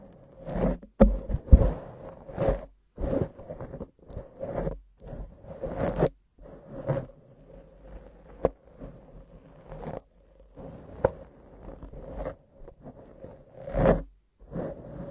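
Long acrylic nails scratch and rub a soft, porous black foam windscreen on a condenser microphone. It makes a series of short, close, muffled scratching and rustling bursts, heavy in the low end, with a faint steady tone running underneath.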